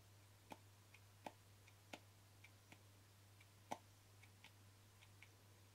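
The lid of a small white plastic cream jar with a screw lid is tapped with short fingernails and fingertips. The result is a series of short, dry, irregularly spaced clicks, some louder with a hollow mid-range knock and others light and bright. A steady low hum runs underneath throughout.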